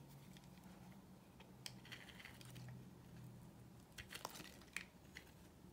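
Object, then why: Bar of soap cut with a blade. A utility knife blade carves a solid, dry pink bar of soap held in the hand, peeling off thin curls. Soft, dry scraping is heard over a low steady hum, and bright, crisp clicks and snaps grow sharper toward the end.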